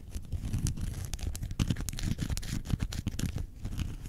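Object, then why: Faux leather zip wallet. Long painted nails scratch across the front panel of a small, closed grey-brown faux leather zip wallet with a metal badge, lying on white fur. The result is a soft, continuous, low-heavy scratching with a steady rough rustle, broken by many quick, brighter scrapes that have almost no ring.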